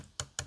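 Two knocks on the plastic shell of an 8BitDo Ultimate wireless game controller, each a short, sharp tap with a low thump near 125 Hz and a bright click that dies away quickly. The shell gives a somewhat hollow sound.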